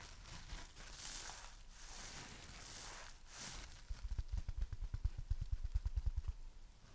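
A palm-sized, dry, porous, soft rainbow-striped heart-shaped foam sponge is held in one hand and scratched, tapped and rubbed with long dark-red fingernails and fingertips. It starts with soft, airy rubbing swishes carrying bright scratchy hiss, then turns into a quick, irregular run of dull, low, muffled taps that stop short with almost no ring.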